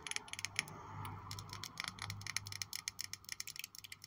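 Long nails tap and scratch along the faces of a small purple glass perfume bottle with a gold-toned cap, held in the hands. There are about 22 quick, bright, dry clicks with almost no ring, mixed with softer scratching stretches. A faint low hum runs underneath throughout.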